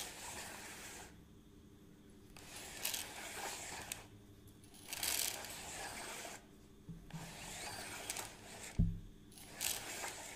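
A hollow plastic measuring tape reel is held at the side while fingers scratch and handle its case and crank. Bursts of dry, bright scratching and rubbing alternate with brief quiet gaps, broken by a few sharp taps and clicks on the plastic.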